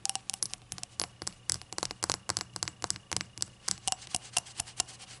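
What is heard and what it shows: Long acrylic nails tap the body and open rim of a small, hollow, empty, rainbow-glazed ceramic novelty shot glass resting on a towel. The result is a rapid, irregular series of bright, dry clicks that die away almost instantly, with a faint ceramic tone near 730 Hz.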